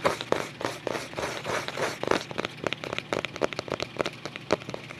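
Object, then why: Paper-covered cardboard photo album cover. Fingertips tap and scratch the paper-covered cardboard back cover of a closed photo album held in both hands. Soft, bright scratching swishes in the first half give way to a quick, irregular run of dry, crisp taps with almost no ring.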